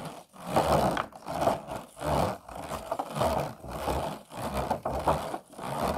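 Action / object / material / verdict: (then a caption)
scrape / empty plastic food container with ridged sides / plastic / none. Medium-length nails scratch quickly along the ridged sides of an empty, hollow, disposable clear plastic food container. The result is a series of rapid, raspy scraping bursts with a buzzing midrange tone, each rising and fading with short gaps between them.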